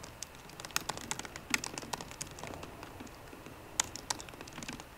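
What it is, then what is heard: Laptop keyboard being typed on. Fingertips and short painted nails of both hands type on a 13-inch MacBook Pro keyboard with low-profile plastic keys set in a solid aluminum body. The result is a quiet, steady patter of quick, crisp, bright clicks with almost no ring. Some sharper taps stand out above the rest.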